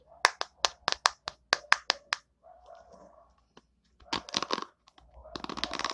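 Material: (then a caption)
Plastic. Long nails tap the hollow plastic back of an orange plastic hairbrush in a quick run of sharp, clicky knocks, then softly scrape it. They then flick its white plastic bristles, giving bursts of dense, bright crackling rattles.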